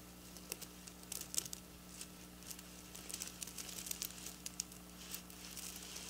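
Long black nails pick, tap and scratch silver sequin fabric lying on a counter. Quiet, bright crinkly clicks and scratchy rustles come in scattered bursts over a faint, steady low hum.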